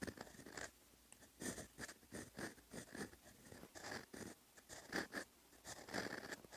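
The steel nib of a fountain pen, held in the fingertips, scratches across a flat sheet of lined writing paper while writing Korean letters in brown ink. Short, dry, papery scratching strokes come in irregular bursts separated by brief quiet pauses, with a bright, hissy texture and little low end.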